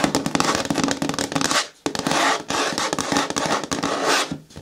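Long nails tap rapidly on the front wall of a hollow, medium-hard green plastic bin with a lid. The result is a dense, clicky patter with a hollow low-mid resonance and some bright, scratchy edges. It plays in two bursts separated by a brief pause.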